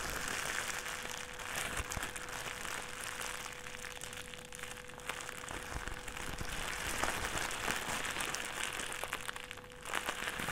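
A thin white plastic trash bag is crushed and crinkled into a small ball with the fingertips of both hands. A dense, continuous crackling fills the clip, bright and papery, with a steady level and a faint, constant mid-range tone beneath the rustle.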